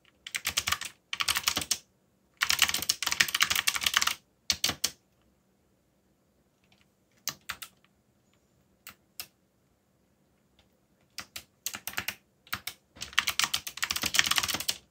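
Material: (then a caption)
Plastic. Fingertips type on a backlit mechanical keyboard with dark plastic keycaps. Quick bursts of bright, crisp clicking keystrokes alternate with short pauses, with a few isolated taps in the quieter middle stretch. Each keystroke stops almost instantly with no ringing.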